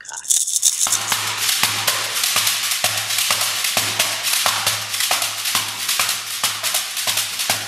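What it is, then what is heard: Beaded gourd shekere. A large, head-sized hollow dried-gourd shekere covered in a net of colored beads is held in both hands, shaken and slapped on its base with the palms and fingers. It gives a dense, bright bead rattle with steady rhythmic accents and a low, steady hum underneath.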